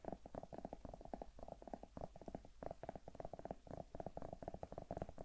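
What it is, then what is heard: Zucchini. Long nails tap and scratch rapidly on the skin of a large, solid whole zucchini held in one hand. The result is a quiet, dense run of soft, muffled clicks and light scraping, each dying away almost instantly, with a low, hollow body and no bright edge.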